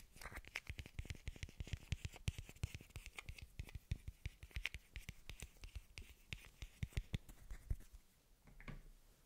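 A small hollow blue plastic bottle cap is held in the fingers and tapped and scratched with the nails. The result is a rapid run of short, dry clicks with a low thump and bright scratchy edges. Near the end the taps trail off into a softer rasping scratch.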